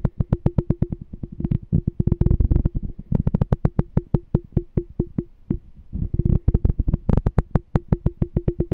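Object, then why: Small glass canister jar. A small, clear, apparently empty glass canister jar with a printed "Smart Canister" label is held in one hand and tapped with the fingertips on its glass body. The rapid, dull taps come in quick runs and denser flurries, each sounding a brief low tone that dies away almost at once.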